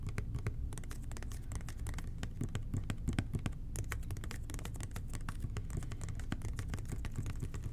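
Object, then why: Plastic toilet cleaner bottle. A hollow red plastic toilet cleaner bottle with an angled nozzle, held in both hands, is tapped and scratched with the fingertips. Rapid, soft, clicky taps and light scratching patter continuously over a low, hollow thrum that carries most of the sound's weight, each tap dying away almost instantly.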